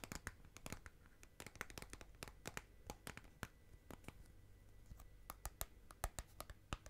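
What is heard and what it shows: Long nails scratch and tap the outer side wall and rim of a small clear plastic tub filled with green slime. A quick, irregular run of sharp, bright clicks cuts off almost instantly, with soft scratching between taps over a low, steady hum.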